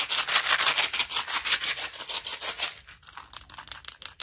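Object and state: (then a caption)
Small plastic mint box, full. A small, clear plastic Tic Tac box full of red mints is tapped with long nails and shaken. The result is a bright, rapid rattling and clicking, dense at first and thinning into sparser, separate taps toward the end.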